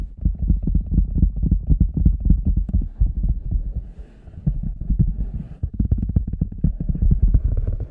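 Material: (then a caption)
Rubber. Fingertips and nails tap the front and sides of the shaft of a large, hollow red rubber boot with a microphone inside. The result is a rapid, uneven stream of deep, muffled thumps, about four per second, with almost no high end. Around the middle of the clip the tapping eases briefly, and a faint, lighter scratchy texture comes through before the dense thudding returns.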